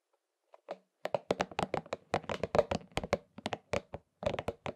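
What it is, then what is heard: Rubber spiky massage ball. A pink and purple soft rubber spiky massage ball is held in both hands and rubbed and scratched on its spikes with the fingertips. This makes a quick, uneven run of many short, dry, scratchy clicks and taps. Each has a mid-toned body and crisp bright edges, and dies away almost instantly between strokes.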